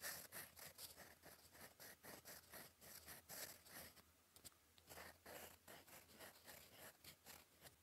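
A gold metal fountain pen nib, held in the fingers, scratches across a flat sheet of cream lined paper on a desk while writing cursive. Quick, bright, papery scratching strokes come in rhythmic bursts, each ending almost at once, with a brief quieter pause near the middle before the writing picks up again.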